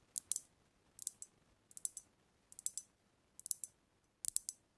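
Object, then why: Glass cognac bottle. Long nails tap the body of a brown glass cognac bottle with amber liquid inside, held tilted over the mic. Six short bursts of quick taps give bright, dry clicks with almost no ring, set against a quiet background.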